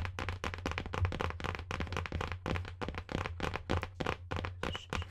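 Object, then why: Hardcover book with cardboard boards. Long nails tap and scratch the rigid board cover of a marbled cardboard hardcover book held upright. The result is a rapid, continuous run of short, dry, bright clicks and scrapes with almost no ring, over a steady low hum.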